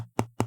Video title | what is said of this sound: Is The Custom Keyboard Community DYING? ft Epomaker AK820 Pro | you can sort of tell that there's a lot of foam and a lot of dampening going into this board